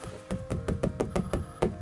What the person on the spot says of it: 두께감이 있기 때문에 퉁퉁퉁퉁 소리가 나죠.